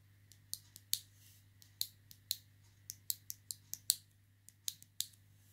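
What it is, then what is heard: Plastic clothes peg with metal spring. A small pink plastic clothes peg with a metal coil spring is held in the fingers and clicked open and shut against the spring. It gives a quick, irregular series of sharp, bright, dry clicks with almost no ring, over a faint steady low hum.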